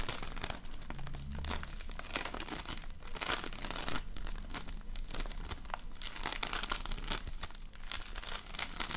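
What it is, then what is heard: Floam (foam-bead slime). A large lump of floam, slime filled with polystyrene foam beads, is squeezed and kneaded with fingers and nails. A steady stream of dense, bright crackling and crunching pops continues throughout, over a low, soft squelching rumble.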